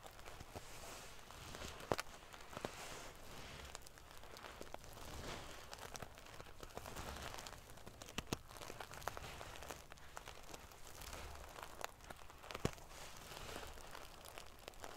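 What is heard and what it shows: Fingernails scratch and ruffle the metal pieces of a silver metal paillette pillow covered in metal sequins. The result is a steady, quiet, prickly rustling and crinkling, broken by brief sharp clicks as the pieces snap against each other.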